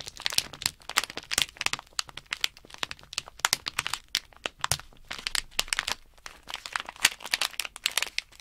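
Fingertips and nails press, crinkle and rub a small sealed plastic Nanoblock blister bag with a cardboard insert, holding loose plastic building blocks. The result is a steady run of bright, sharp crinkles and crackles with almost no low end, each snap dying out almost instantly.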